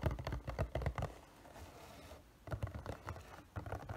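Fingertips and nails tap a hollow, printed cardboard figure box as it is turned from panel to panel. Fourteen quick, uneven, dull taps carry low, hollow thumps, with a quiet scratchy rustle filling a pause in the middle. The tapping then resumes.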